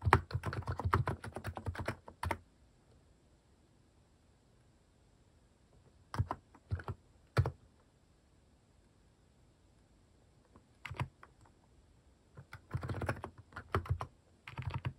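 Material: Plastic.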